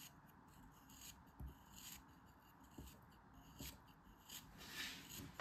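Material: Kinetic sand.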